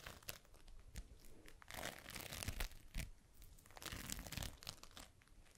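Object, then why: Foam bead slime (floam). A palm-sized, solid, pliable ball of yellow floam (foam beads in slime) is held in both hands close up and squeezed, pressed and rubbed with fingertips and long pink nails. Dense, crunchy crackling of the beads comes in rising and falling bursts, with bright snaps over a low, soft squish.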